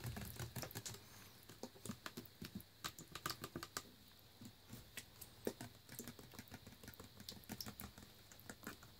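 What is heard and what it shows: A Naked Green Machine smoothie bottle of clear plastic with a paper label and blue plastic cap, full of thick green juice, is held in hand and tapped with fingernails on the label and body. About 35 quick, sharp, dry clicks come in an irregular pattering rhythm with soft rustling, each dying away almost instantly at a low level.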